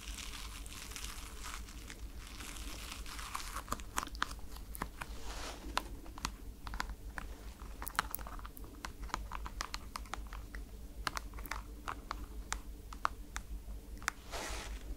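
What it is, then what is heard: Foam slide slipper with plastic strap. A white NASA rubber foam slide slipper with a holographic plastic strap is held close to the mic while long nails tap and scratch the strap and the sole. Dozens of sharp, dry clicks ring out over a soft, crinkly scratching texture and a steady low hum.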